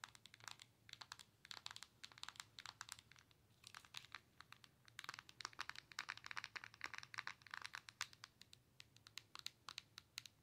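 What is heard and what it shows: Long nails tap rapidly across the glass touchscreen of a Nintendo Switch handheld console with a plastic body. The taps come as quiet, sharp, bright clicks in irregular clusters, with a faint low hum underneath.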